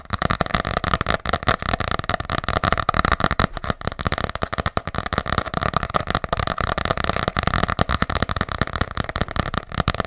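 Long nails tap quickly on the cover of an ornate hardcover paper journal held close to the mic. The result is a steady stream of short, dry clicks with a hollow, woody midrange tone and no ring after each tap.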